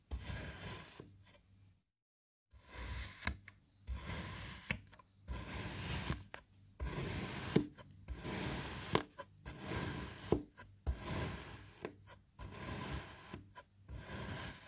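An orange kinetic sand puzzle block is sliced diagonally into a grid with a serrated knife, leaving crumbly sand edges. Repeated soft, gritty scraping strokes with a bright hiss are heard, separated by brief silences and the occasional light tap.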